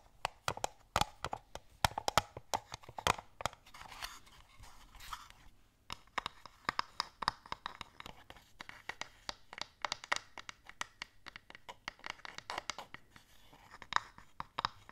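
A small wooden box with compartments holding wooden stamps and an ink pad is held upright and tapped and scratched with long nails. Quick, dry, sharp taps come in dense, uneven bursts, with crunchy scratching between them. The sound is quiet and close, with brief clicks that die out almost at once.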